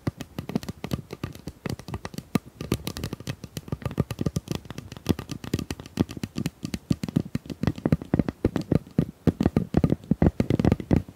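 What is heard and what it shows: A pink plastic tube is tapped rapidly and steadily for about eleven seconds. The taps are short, dull knocks with a low, hollow body and almost no ring. They grow somewhat louder and more forceful toward the end.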